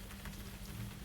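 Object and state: Nothing is struck.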